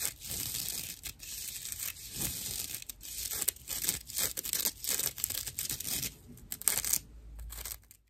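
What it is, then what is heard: Natural loofah sponge. A dry natural loofah pad with a string loop, made of fibrous plant material, is scratched with fingernails. The result is a string of bright, raspy scratching strokes, dense with high hiss and very little low end.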